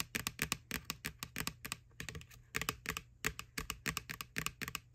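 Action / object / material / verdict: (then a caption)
tap / plastic candy bucket / plastic / none. Long nails tap and scratch the side of a small, hollow, white plastic McDonald's Halloween candy bucket, near its printed McBoo label and ribbed rim. Quick bursts of bright, dry, clicky taps come in clusters with very short decay, broken by faint scratchy rustles and a low steady hum underneath.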